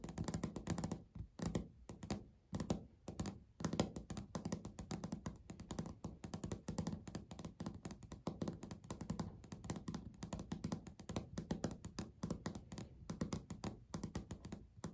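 Natural nails of both hands tap quickly on a flat, solid beige speckled laminate countertop. The result is a dense, quiet stream of short, dull taps and thunks, weighted low around 190 Hz with little brightness, each dying out almost instantly with a few brief pauses in between.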